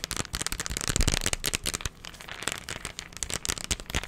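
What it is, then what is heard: Plastic candy container. A hollow, hand-sized cylindrical plastic candy tub with a blue and green label is tapped quickly with fingertips and nails. The taps are bright and crisp and come in a dense, crackling flurry, easing to softer patter around the middle before picking up again.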